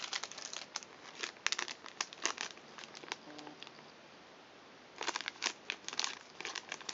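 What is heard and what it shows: An empty, flat, hand-sized blue plastic and foil-lined Thinsations cookie pouch is held in both hands and crinkled and crumpled by fingertips with long nails. Bright, crackly bursts of crinkling come in quick clusters, fade to a quiet lull midway, then return in a dense run of sharp crackles.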